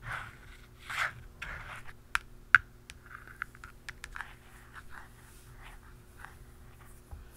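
A hollow black plastic cap on an aerosol spray can is tapped with the tip of a metal pen and a blue plastic pen. Light scratchy scrapes mix with seven sharp, dry clicks that die away almost instantly, with a bright tone around 1.5 kHz over a faint steady hum.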